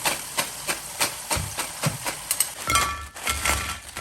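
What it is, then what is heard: Crisp fried potato chips. Golden potato slices, double-fried in high-temperature oil at about 180°C and lifted out to drain, crackle with a series of sharp, bright, crisp cracks. The chips are very crunchy and crisp.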